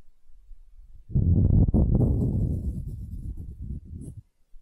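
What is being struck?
Small wooden ball.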